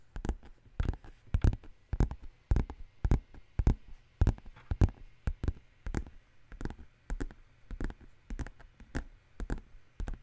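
Long green nails tap and scratch the flat side of a black textured faux leather handbag with metal studs on the bottom. A steady, somewhat uneven run of short, dry, muffled taps with deep low-end thumps dies away instantly, with faint scratching between them.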